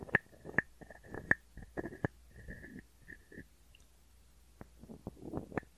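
A hand-sized hollow carved wooden frog guiro, held in one hand, is scraped along its ridged back with a wooden stick. Quiet, irregular rasping scrapes and clicky taps sound out, with a hollow tonal ring near 1.7 kHz in the first half. The scrapes fade to softer, scattered ticks toward the end.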